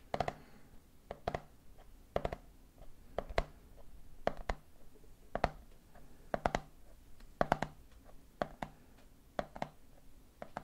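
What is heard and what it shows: Fingertips tap the red plastic lid of a medium clear plastic jar full of peanuts while a hand grips the side of the jar. About 25 short, dry, hollow-sounding clicks fall in quick rhythmic clusters, each dying out almost instantly over a faint low hum.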